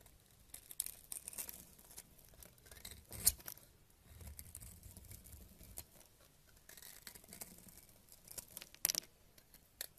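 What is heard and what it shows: A purple knife blade scrapes crumbly flakes off a solid tan bar of soap held in a hand with painted nails. The sound is quiet, dry, and bright: a steady crackly, gritty scraping with no ringing. Sharper snaps stand out near 3.3 and 9 seconds.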